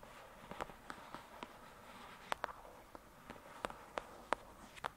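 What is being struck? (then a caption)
Paperback book with card cover. Long pointed dark red nails tap and scratch the glossy card cover of a thick paperback novel resting on a fluffy surface. Fourteen short, dry, clicky taps around 1 kHz, with no ring, land over a soft, steady papery scratching.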